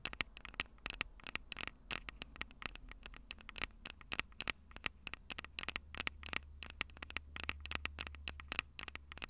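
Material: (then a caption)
Metal. Long purple nails tap rapidly on the metal microphone capsules of a Tascam DR-05 recorder, making a fast patter of sharp, bright clicks with a ringing tone near 2.7 kHz. The clicks land in dense, uneven bursts over a steady low hum and faint hiss.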